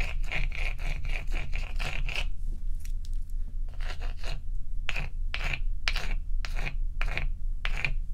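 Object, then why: Large block of ice. A fingernail scrapes across the frosty top surface of a large, solid, dome-shaped ice block resting on a towel. A quick run of bright, scratchy strokes with a faint squeaky tone near 2.5 kHz is followed by a short pause, then slower, separate scrapes. A steady low rumble continues underneath throughout.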